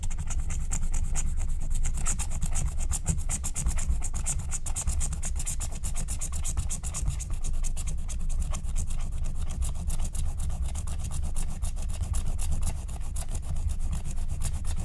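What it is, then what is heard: Scratch-art card being scratched. A wooden stylus scratches a flat, thin, black wax-coated scratch-art card in rapid strokes. The result is a dense, steady run of quick scratching rasps with a heavy low rumble underneath and faint bright edges on each stroke.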